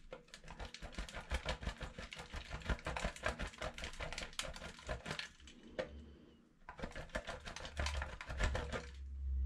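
A solid, rounded pink bar of soap, held in the fingers, is grated on a stainless steel box grater, giving a rapid, dense run of dry scratching strokes with a low rumble underneath. The scraping pauses briefly near the six-second mark, then starts again at a similar quick pace.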